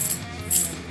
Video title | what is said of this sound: Thunder Road Vendetta Maximum Chrome, Le Cirque du Chaos, Butins Malins et plus - Les Petits Chefs | sonne plus comme du gros sous